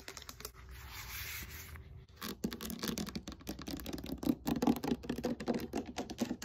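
Long fingernails scratch and rub the foam knobs of a black textured foam roller held upright. A steady, hissy rubbing with a bright edge runs for about two seconds, then a short pause. Fast, irregular scratchy taps follow, with a dull low-mid tone.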